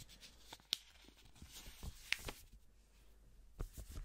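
A single thin blue paper banknote is held by black-gloved fingers close to the mic and crinkled and flicked. Quiet, dry rustling and soft crinkles are broken by three sharp, bright paper snaps that die away almost instantly.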